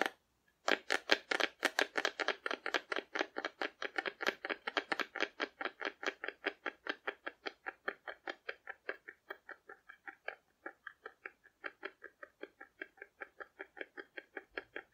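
Long nails patter and tap rapidly across the surface of a hollow painted cardboard dinosaur held sideways. About sixty short, dry clicks with a bright, papery edge begin in a fast, dense flurry, then gradually space out and grow softer.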